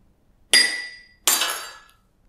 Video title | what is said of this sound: RH GKI Sangkrah 27 Desember 2023, Ketika Roti Manna Itu berhenti | hanya dua kali ketukan maka Gelas itu pecah